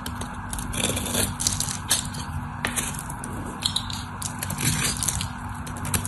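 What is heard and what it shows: A craft knife blade, guided by fingers with long orange nails, scrapes and cuts into the cross-hatch scored surface of a hand-sized solid white bar of soap held in the hand. Dense, dry crackling and scraping come with bright, crisp crunches as crunchy flakes break off, over a steady low hum.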